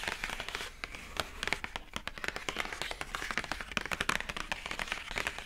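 Long acrylic nails of both hands tap quickly on the lid of a hollow, pink printed rigid cardboard gift box with a rope handle. The result is a rapid, steady stream of dry, bright clicks and light knocks with almost no ring, plus a faint hollow body beneath them.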